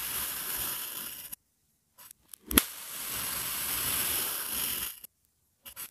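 A long, thin metal blade presses down through a flat, solid blue kinetic sand sun mold, slicing it again and again. Each slice gives a soft, bright, grainy crunch and hiss, with a sharp click partway through, and short silences and brief scrapes fall between the cuts.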